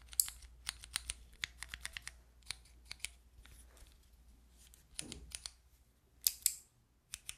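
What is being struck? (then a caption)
Plastic keycap fidget toy. Long nails click and tap the white plastic keycaps of a handheld fidget toy with a clear plastic frame. Around two dozen short, dry, bright clicks come in irregular bursts with quiet gaps between them. Each click stops almost instantly, with very little low end.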